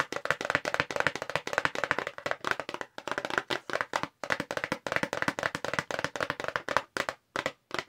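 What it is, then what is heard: Paperboard box. A long, narrow, light-blue printed paperboard box for a makeup brush, hollow, is held up in both hands and rapidly tapped with long pink acrylic nails. The result is fast, dry, hollow clicking with a papery midrange tone, almost no low end, and each tap dying away almost instantly. The tapping runs in quick bursts broken by brief pauses.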